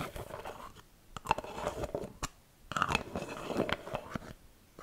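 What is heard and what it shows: A small round white plastic Glicemille hand cream jar with a lid is held in both hands and tapped and scratched with long red-painted nails. Quick, crisp taps and dry crunchy scratching come in two dense bursts separated by quieter gaps, with short clicks that stop almost instantly.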